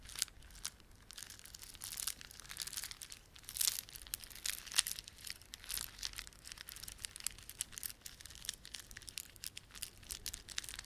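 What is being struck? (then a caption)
Plastic beaded ornament. A plastic beaded ornament is rubbed and squeezed by fingertips, giving a quiet, continuous stream of dense, bright clicks and crinkly crackles. The sound is mostly high-frequency with very little low end, and the tiny ticks stop almost instantly with no ring.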